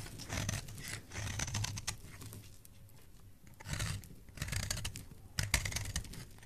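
A solid, pale, white speckled bar of soap, held in the hand, is carved into flakes with a metal blade. Bursts of crisp, dry scraping and shaving strokes come with a soft low rumble and bright, crackly edges, separated by quieter pauses.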